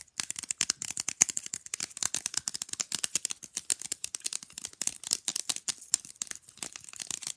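Fingernails tap and scratch fast on the printed picture surface and edges of a small, rigid, flat rectangular picture fridge magnet. The result is a rapid, uneven stream of dry, bright clicks and scrapes with no low end, each one stopping dead without any ring.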